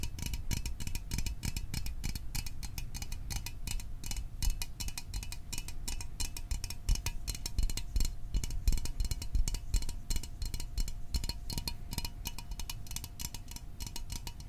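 Fingernails tap rapidly and irregularly on the sides of a small, hollow Fanta orange aluminium drink can held above a microphone. The taps are short, dry clicks with a bright metallic edge over a soft low thump, dying away almost instantly and running continuously through the clip at a fairly steady, quiet level.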